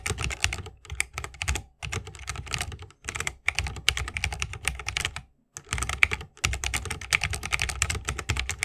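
Fingertips of both hands type fast on a 60% mechanical keyboard with plastic keycaps on tactile Holy Panda switches, set in a solid bamboo wooden case with RGB lighting and resting on a wrist rest. Bursts of quick, bright, clacky keystrokes with a low thock run together, broken by a few brief pauses.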